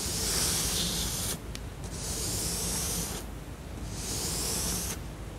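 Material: Cardboard.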